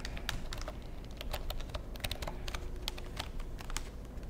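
A long black plastic computer keyboard is held edge-on in front of the microphone while fingertips type and tap on its keys and casing. Quick, bright plastic clicks and taps come in an uneven stream over a steady low rumble.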